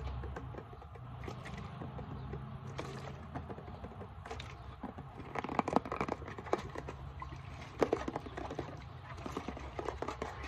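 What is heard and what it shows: Long nails tap and scratch the sides of a translucent plastic isopropyl alcohol bottle partly filled with liquid, held close up. Quiet, dense clicking and scraping runs over a low rumbling background, with a few sharper taps standing out.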